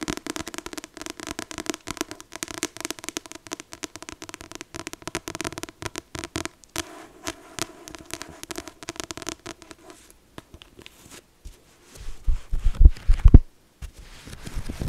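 Long acrylic nails tap quickly and unevenly on the glossy card cover of a thick paperback copy of "The Infinite Sea," giving a dense run of soft, dry clicks. The book is then turned so the nails tap near the edges of its solid paper block, and the taps thin out, ending in a few louder, duller knocks.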